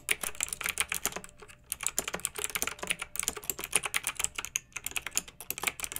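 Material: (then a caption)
Plastic. Fingertips with long nails type on a pink backlit plastic mechanical keyboard with round, typewriter-style plastic keycaps. A quick, continuous run of sharp, bright clicks carries almost no low end, and each click dies away almost at once. The typing eases briefly a couple of times before picking back up.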